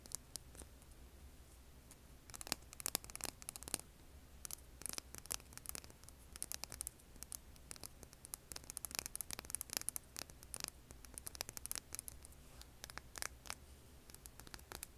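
Long painted nails scratch a hand-sized, solid rough rock held over an earbud mic. Many quick, bright, crackling scrapes come in dense bursts over a faint, steady low hum. Each scrape stops almost instantly, with no ring.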